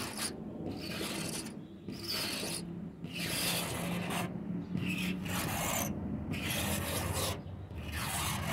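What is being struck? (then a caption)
Painted wooden door. Short fingernails scratch slowly back and forth across the surface of a white-painted wooden door. A steady, raspy, broadband scraping is heard in repeated strokes, separated by brief pauses where the high hiss drops away.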